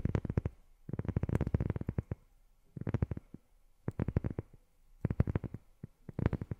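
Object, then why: Rubber sheet. Long fingernails tap rapidly on a rubber sheet in quick bursts separated by short pauses. Each tap is a soft, dull, low thud with almost no ring or brightness.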